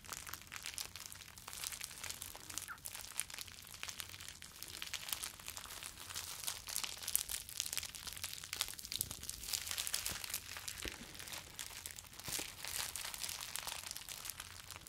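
Rolled clear plastic bubble wrap is held in the hands, squeezed and rubbed with the fingers. A dense, steady stream of bright crinkling and crackling fills the whole clip, with sharp little snaps scattered throughout and very little low end.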